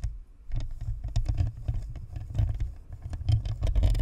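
Long nails tap and scratch across the top of a white, hollow, spherical plastic-and-metal Blue Snowball USB microphone, then move to its sides. The result is a dense, continuous patter of quick taps and scrapes that registers mostly as a deep, boomy low thumping, with faint bright clicks above it.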